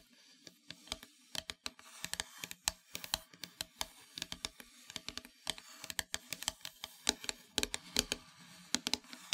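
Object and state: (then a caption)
Wooden heart plaque tapped with fingernails. Long metallic nails tap and scratch across a flat, solid, dark painted wooden heart-shaped plaque held in the hands. Dozens of quick, sharp, bright clicks come in an irregular patter, each dying away almost instantly, with faint scratchy rustling beneath them.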